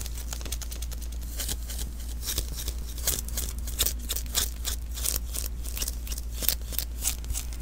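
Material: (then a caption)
Adhesive paper. A palm and fingertips pat and rub the sticky surface of a small hollow lint roller refill, an adhesive paper roll with a cardboard core. The contact makes quiet, irregular bright crackling taps and peeling sounds over a steady low hum.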